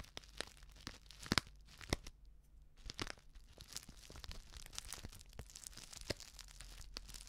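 A flat, sealed plastic instant soup sachet filled with dry contents is crinkled and scratched with long nails. The result is quiet, bright crackling and scratching with frequent sharp snaps, a louder burst near the start and a brief hush at about two seconds before the crinkling resumes.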